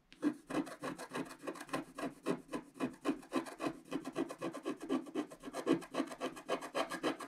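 A wooden stylus makes rapid, dense scratches across a flat, black-coated scratch art card about A4 size, revealing the colour underneath. About forty dry, rasping scrapes follow one another at roughly three to four per second in a loose rhythm, each short with a midrange body and a faint bright edge.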